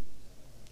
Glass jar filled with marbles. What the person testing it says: goyang begini digoyang bunyi enggak Hening